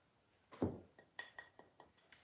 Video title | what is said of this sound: What We Look For While Thrifting Home Decor in 2021 | sounds like glass it's pressed something i think it's glass but oh it's thick it's a nice piece of glass